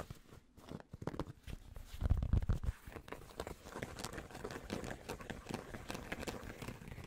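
Fingertips and nails tap and scratch the fabric crown and brim of a light grey cotton-blend trucker cap with a printed logo, held hollow and empty in both hands. Fast, irregular soft thuds mix with dry scratchy rustling, mostly low and muffled, with a louder, denser burst about two seconds in before settling into steady quieter scratching.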